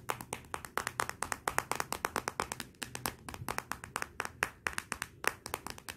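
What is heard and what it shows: Long nails tap rapidly on the glossy glass back of a Motorola smartphone lying face down on black cloth. About forty short, sharp clicks come in an uneven stream, bright and dry with almost no ring. There is a faint low hum underneath.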